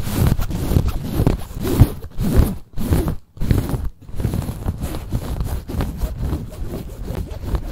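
Long nails scratch and scrunch a soft, cream quilted padded fabric bag. The result is a dense, muffled, low-heavy rustling and scratching that runs almost continuously, broken by a few brief pauses near the middle.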